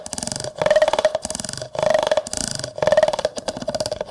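A yellow plastic comb scrapes and taps the side of a large, clear, hollow, empty plastic cup, its teeth raking across the surface. The result is repeated bursts of rapid, ratcheting plastic clicks with a steady hollow tone near 620 Hz, close and dry with almost no ring.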